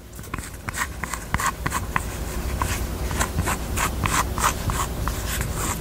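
Long nails tap and scratch the sides of a small, hollow, hot-pink velvet-covered heart jewelry box held in both hands. The sound is a quick, irregular run of soft, short clicks with a faint knock near 1 kHz, over a steady low rumble and light scratching.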